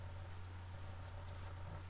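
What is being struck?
Nothing is struck.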